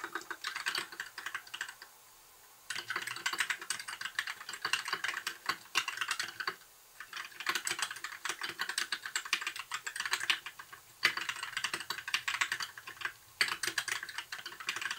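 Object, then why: Plastic mechanical keyboard. Fingertips of both hands type rapidly and continuously on a compact white plastic mechanical keyboard with backlit keycaps and a hollow case. Dense, bright, clicky key taps with almost no low end come in bursts, broken by two short pauses.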